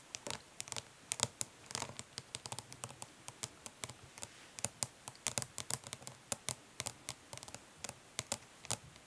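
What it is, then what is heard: Plastic eyeshadow palette tapped with nails. Long nails tap quickly but gently on the printed lid of a closed, flat, hollow plastic eyeshadow palette, with some light scratching. Around forty sharp, bright clicks come in irregular bursts, each dying out almost instantly over a faint hollow low thud.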